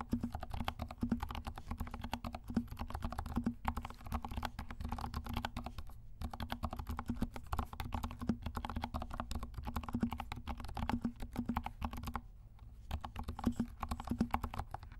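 Fingertips of both hands press and tap the keys of a compact 68-key mechanical keyboard with dark plastic keycaps, pink legends and silent switches. The result is continuous soft, muffled typing clicks with a low thump, broken by brief pauses around 6 and 12 seconds.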